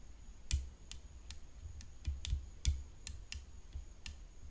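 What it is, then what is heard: Composite tennis racket frame tapped with fingernails. Long nails tap the hollow composite frame of a rhinestone-decorated tennis racket resting on black cloth. The sound is sharp, bright, clicky taps at an uneven pace over a low, soft rumble, with a faint steady high whine underneath. Each tap dies away almost at once.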